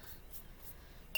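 A rinsed-out glass sauce jar used as a painting jar is tapped once on its edge. After a faint, low background, it gives a single bright glass clink with a high ringing tone that fades quickly.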